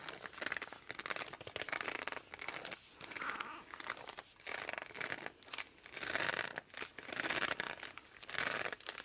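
A glossy laminated cardboard board book is held flat while fingertips and thumbs press and grip its top edge and cover, producing squeaky rubbing. The squeaks come in uneven, bright bursts with short pauses between them, at a quiet, close level with almost no low end.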